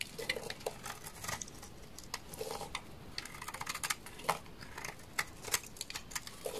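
A hand-sized, solid, dark red, translucent glycerin-type soap bar held in the hand is shaved with a utility knife blade, with curls peeling off. Quick, crisp scraping and cracking strokes come in a rapid, uneven patter, each one bright and dry with almost no ring. A faint low hiss runs underneath.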